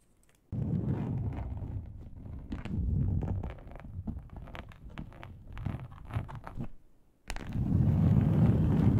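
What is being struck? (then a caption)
Textured plastic board. Long acrylic nails scratch the surface of a large, flat, grey textured plastic board, a solid thin sheet, with the hands held close. A dense, low, rumbling scrape with quick crackly strokes runs steadily, pauses briefly, then returns louder and fuller.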